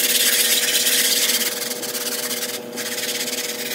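A small white sponge held in the fingertips scrubs back and forth across a large, flat, grey patterned synthetic woven area rug that lies on a tile floor and is covered in soap foam. A steady, bright, hissing rasp repeats in quick, fairly regular strokes with a faint, steady hum beneath it. The sound dips briefly near the end before continuing.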